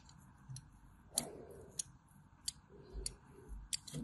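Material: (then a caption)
Soap. A small pointed metal blade, held in pink-nailed fingers, scores lines across the embossed logo of a solid white, hand-sized bar of soap held in the hand. Quiet, sharp, bright scratching clicks come at roughly even intervals and die away almost instantly. Faint low rustling and handling noise sit underneath.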